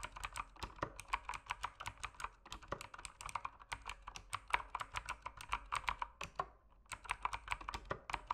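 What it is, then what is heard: Mechanical keyboard typing. Fingertips type continuously on a dim mechanical keyboard with plastic keycaps, producing a rapid stream of sharp, short clacks with a bright, high-reaching click. The clicks center around a mid-pitched tone near 1 kHz, with a brief lull around six and a half seconds before the typing resumes at the same pace.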